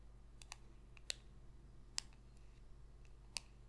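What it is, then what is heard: Glossy cardboard trading card. Long pink nail tips click and tap a small, thin, solid glossy cardboard trading card (No. 27) held up in the hand. Sharp, bright, very short clicks sound at irregular intervals over a quiet, steady low hum.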